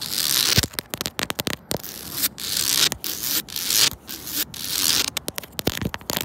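Long pointed red and black nails and fingertips scratch and rub along the grooves of a reddish-brown ribbed composite decking board, a large, solid, flat outdoor surface. The result is bright, dry rasping and crackling scrapes, with longer sweeping strokes broken up by many quick flicks and brief silent gaps. There is very little low end.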